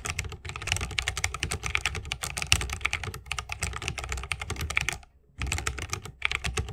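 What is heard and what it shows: Fingertips of both hands type fast on a 60% mechanical keyboard with plastic keycaps on tactile Holy Panda switches, set in a solid bamboo wooden case with RGB lighting and resting on a wrist rest. A dense stream of crisp, bright clacks rides over a low, thocky body, with a brief pause near the five-second mark before the typing resumes.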